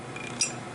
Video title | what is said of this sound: Pocket Valve Engine Part 9 Cam & Cam Follower | you can hear it tapping around